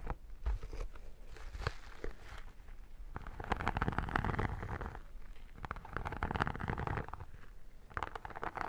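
Long nails scratch and tap the embossed, iridescent textured vinyl cover of a square photo album, producing dense, crackly scratching in uneven bursts. Quick dry taps cut through the scratching, with a low rumbling undertone throughout.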